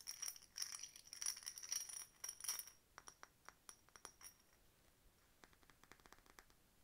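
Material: Glass.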